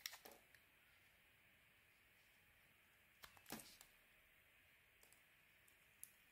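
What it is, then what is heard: Soap bar being carved. A metal blade carves crisp chunks from a solid, oval, pale green bar of soap held in the hand. Bright, sharp clicking cuts come in short bursts at the start and again around the middle, then as a few scattered single clicks near the end. Between the cuts, only a faint, steady hiss remains.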